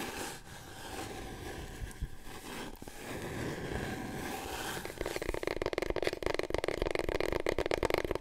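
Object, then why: Large cardboard tube. A long, hollow, empty brown cardboard core from a big paper roll, held in both hands, is scratched and tapped with long painted nails. Soft, gritty scratching comes first, then after about five seconds it turns into fast, dense tapping with a hollow, mid-pitched resonance.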